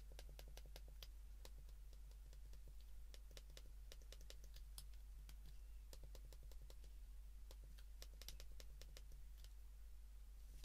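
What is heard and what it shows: A white plastic flip phone is held in the hands while its keypad buttons are pressed repeatedly with the thumb and fingertips. This produces a quick, irregular run of short, bright plastic clicks. A steady low hum runs underneath the whole time.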